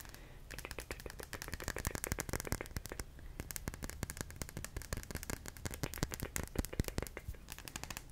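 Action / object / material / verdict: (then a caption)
tap / small solid glass ball / glass / none. Long fingernails rapidly tap and scratch the surface of a small, solid, clear glass ball held in both hands. Dense, dry, sharp clicks and brief scrapes run in quick bursts with no ring, over a steady low rumble.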